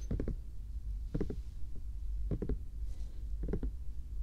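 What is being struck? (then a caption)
Small plastic bear-shaped night lamp. A small, glowing, hollow bear-shaped plastic night lamp is held in one hand and tapped with fingertips and nails. Four short bursts of quick, soft, muffled taps sound over a steady low hum, with almost no ring after each tap.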